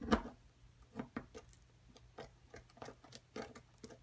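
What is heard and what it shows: A pointed metal pick scratches and chips the top surface of a solid white plaster block near its cavity while a hand with long nails holds the block. The result is a quiet, irregular series of short, dry scrapes and clicks, each dying away almost instantly, with the first chip the loudest. A faint low hum runs underneath throughout.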